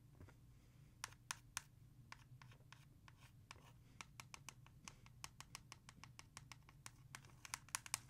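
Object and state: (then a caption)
Plastic CD jewel case. Long nails tap fast and scratch on the back of a hollow plastic CD jewel case held in hand. Sharp, bright, clicky taps come in an irregular rapid run, with quick scratches between them. A steady low hum sits underneath.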